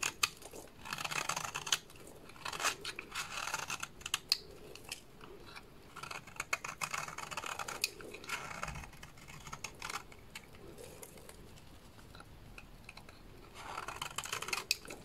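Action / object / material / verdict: scrape / bar of soap cut with a small blade / soap / none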